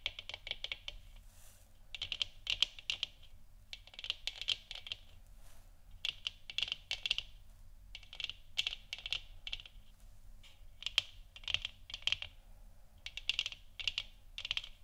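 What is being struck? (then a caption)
3D-printed plastic lamp sphere. Long nails of both hands scratch and tap the textured surface of a glowing orange, hollow 3D-printed plastic moon lamp sphere, about 15 cm across, mounted on a wooden stick stand. Bursts of quick, dry, bright clicks and scratchy rasps come in clusters separated by short pauses, with a faint low hum underneath.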